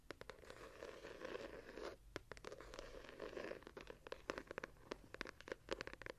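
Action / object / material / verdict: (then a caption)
scrape / hardcover paper journal / paper, board / none. Long nails scratch the page edges and patterned gilded cover of a small ornate hardcover journal held in both hands. Soft, raspy scratching swells in waves, broken by many sharp, bright clicks and ticks.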